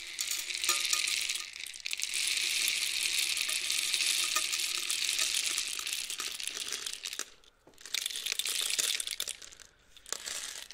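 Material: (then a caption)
Cardboard. A long, hollow, painted cardboard rainstick with loose filling is held diagonally and flipped by hand, so the filling trickles inside. It makes a dense, bright patter like rain that nearly fades out twice as the tube is turned, then starts again.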